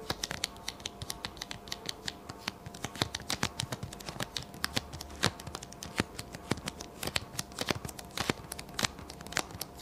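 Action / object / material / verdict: tap / paper sticky note pad / paper / none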